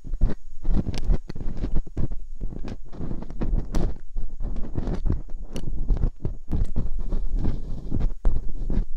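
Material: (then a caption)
Silicone. Thin metal dental picks scratch and poke inside the ear canals of two soft silicone ear molds on a round white binaural microphone. The result is a steady run of close, muffled, low-heavy scraping and tapping, with short scratchy bursts that stand out at a fairly constant level.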